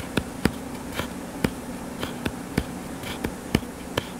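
Fingertips and nails scratch and rub the cover of a purple-covered paperback book lying flat on a solid surface. Several short, sharp clicks and scrapes stand out, each dying away almost at once, over a steady low buzzing hum near 220 Hz.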